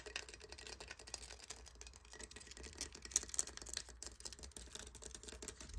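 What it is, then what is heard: Encrusted conch shell. Fingertips and nails tap and scratch the bumpy top of a large, hollow, crusted conch shell. The result is a quiet, steady stream of dry, crackly clicks and scrapes, mostly bright and high with little low end, and a few sharper taps standing out near the middle.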